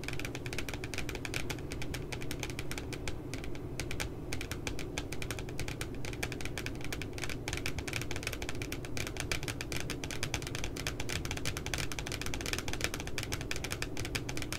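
Fingernails tap rapidly along the bottom edge of the glossy cardboard front cover of a spiral notebook with a puppy design. The dense, continuous stream of short, dry clicks has a soft low thud beneath a crisp, bright edge, and holds a steady level throughout.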